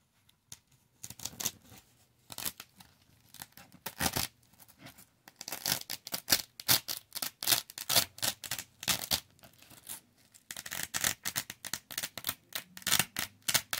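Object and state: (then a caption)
Velcro fabric square being peeled. Fingertips repeatedly peel and lift a thin, palm-sized, flat and solid yellow velcro fabric square off a black fuzzy loop board. Each pull makes a short, bright ripping and tearing burst with almost no low end, separated by brief quiet gaps.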